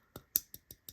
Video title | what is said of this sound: This is How You Make A Crossbar Lock Knife! - Kunwu Pulsar Review | if you tap the the lock it rattles but otherwise it doesn't